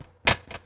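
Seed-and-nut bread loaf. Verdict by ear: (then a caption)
Baked through. Two taps on a freshly baked seed-and-nut bread loaf with a crusty outside, giving short, dry, bright knocks that die away almost at once. The solid sound shows the loaf is baked through and not mushy inside.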